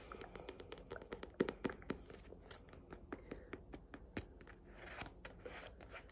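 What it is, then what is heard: Paperback book (tapped). A paperback copy of "Killing Rage: Ending Racism" is tapped in a quick, irregular burst of many dry, soft taps. Light crinkly scratching sounds between them, and each tap dies away almost at once.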